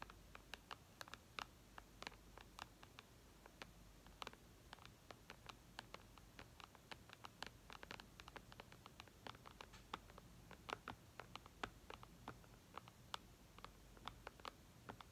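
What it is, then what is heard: Tapping on a glass tablet screen. Long red nails tap the glass screen of an iPad lying flat, with the hands held close together. Quick, light, bright clicks come in an irregular, patter-like stream, each dying away almost instantly over a low, steady background hum.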